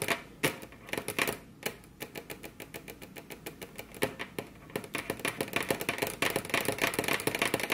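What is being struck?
Wooden table top tapped with fingernails.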